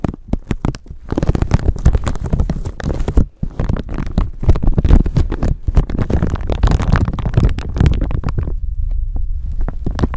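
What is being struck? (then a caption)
Thin plastic bag. A thin, clear plastic bag stretched over a microphone is crinkled and scratched with long nails, possibly with some handling noise from the microphone underneath. The result is a dense, continuous crackling rustle with deep, thumpy low-end weight, a brief pause around three seconds in, and softer, sparser scratches in the last couple of seconds.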